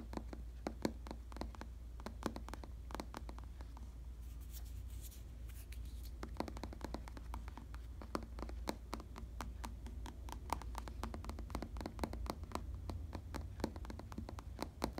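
Fingertips tap and scratch the textured surface of a black, solidly padded synthetic leather (vinyl) bicycle saddle. Quick, dry, muffled taps sound in irregular bursts, with a softer scratching stretch around the middle. A steady low hum sits underneath throughout.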